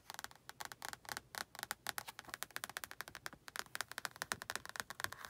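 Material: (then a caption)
Paper. Long nails scratch the cover and exposed page edges of a solid orange and red paperback book, producing a rapid run of some 37 short, dry, crisp scratches. The sound sits in the bright mid-to-high range with almost no low end, and each scratch stops dead with no ring.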